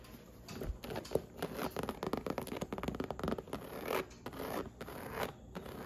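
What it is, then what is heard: Faux leather handbag. Long acrylic nails scratch and tap across the surface of a medium pink, snake-textured faux leather handbag with a strap and metal buckles, resting on a red upholstered stool. The hollow bag is opened partway through. The result is a quiet stream of dry, rapid scratching and short, clicky taps with bright rasping edges and no ring.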